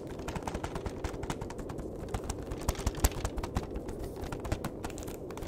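The back face of a flat cardboard chocolate box is tapped and scratched with fingertips and nails. The result is a rapid, uneven run of many short, dry clicks and taps, a few landing louder, each stopping almost at once with no ring. Underneath is a soft, steady low rustle.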